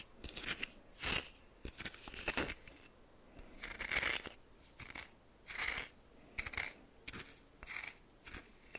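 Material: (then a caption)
Salt. A red plastic spoon held in fingers stirs and scrapes coarse white salt in a small, shallow, greenish tin-like metal bowl about half full. The result is irregular bursts of bright, gritty scratching and crunching, with a faint metallic ring near 2.3 kHz and short quiet gaps between strokes.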